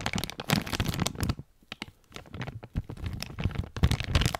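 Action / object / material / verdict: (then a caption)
scrape / clear plastic bag with an item inside / plastic / none. A clear plastic bag with a coiled item inside is held close to the mic and crumpled and scratched with fingers. Dense, irregular crinkles and sharp crackles come in quick bursts with some low, thumpy handling noise, easing to quieter, sparse crackles in the middle before building up again.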